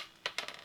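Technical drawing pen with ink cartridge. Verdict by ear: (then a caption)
Dry. A Rotring Rapidograph technical drawing pen with an ink cartridge, unused for a long time, is shaken, giving only three faint, high-pitched ticks instead of the usual rattle of its weighted needle. The near-silence comes from ink that has dried and caked inside the cartridge and cap, leaving the needle almost unable to move.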